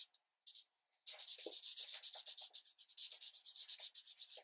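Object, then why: Marker tip on a thin paper page. A green marker tip is rubbed firmly in repeated strokes across a thin paper coloring page resting on a light pad. After a few faint, sparse scratches, a steady run of quick, bright, hissy rubbing strokes follows, with almost no low end and each stroke fading quickly.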